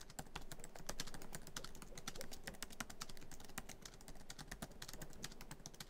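Fingertips of both hands type quickly across the black plastic keys of a MacBook Pro keyboard set in a hollow silver aluminum laptop body. A dense, steady run of short, sharp clicks with bright tops sits over a low, soft thud from the hollow body, and each tap dies away almost instantly.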